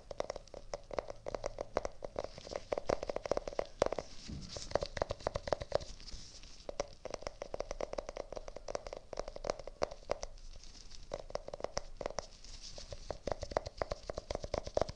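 A small round clear plastic tub with a green rim, filled with pink slime, is held up in both hands while gloved fingertips rapidly tap and press on the plastic. The result is a dense, quiet stream of crisp, short clicks with a hollow mid-pitched ring around 560 Hz, broken by a few brief softer stretches.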